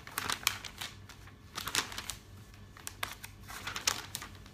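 Long-nailed fingertips rub and flip the glossy pages of a thick, open paper catalog. The result is a string of soft, bright, crinkly paper rustles and quick crackling bursts over a faint low background hum.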